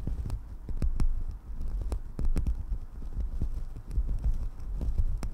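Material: Synthetic fur.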